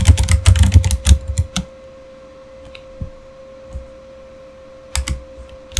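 Both hands type with their fingertips on a backlit Razer mechanical keyboard with plastic keycaps, producing a quick burst of deep, clacky keystrokes for about a second and a half. A few scattered single key presses follow over a faint steady tone, then a brief cluster of clacks near the end.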